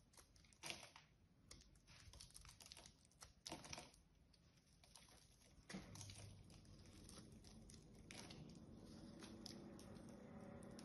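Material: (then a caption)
Soap. A small metal blade scrapes and chips flakes off a solid, hand-sized, unwrapped green bar of soap, held by a hand with long yellow nails. Quiet, irregular dry scratching and crisp crumbling chips recur throughout, with a few louder strokes near the start. From around six seconds on, a steady low, busy scraping continues.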